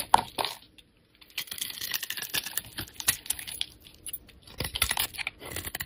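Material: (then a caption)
Glycerin soap. A metal utility blade scrapes a solid, clear glycerin soap bar with a red edge, curling off white shavings. The sound is a quick run of crisp, dry, scratchy strokes with bright, hissy detail and almost no low end, broken by a short silence near the one-second mark before the scraping resumes.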